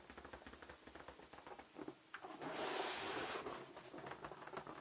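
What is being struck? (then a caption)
Inflated latex balloon. A large, inflated, light-blue latex balloon, hollow and air-filled, is held in the hand and tapped with fingertips and short nails. It makes quick, light, hollow patters with a mid-range tone, and a louder, rubbery rustling swell near the middle of the clip.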